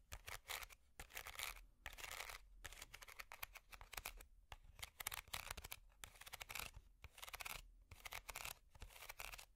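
A small, hollow, empty woven wicker basket is scratched with long metal finger picks. Bright, dry scratching and crackling comes in rapid bursts separated by short pauses, with quick rasping strokes and no ringing afterward.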